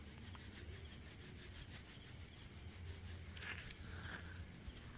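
A small, airy ball of stainless-steel wire scrubber is held in one hand close to the mic and squeezed and rubbed with the fingertips. It gives a steady, quiet, scratchy rustle with a bright metallic crinkle over a low rumble. Near the end come a few sharper, brighter crackles.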